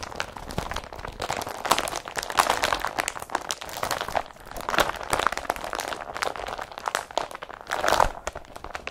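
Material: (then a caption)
Woven polypropylene. An empty blue woven polypropylene IKEA BRATTBY carrier bag is grabbed and crumpled by hands. The result is a steady stream of dense, crisp crinkling and crunching with sharp crackles that swell and fade over nine seconds, centred in the midrange with bright edges and little low end.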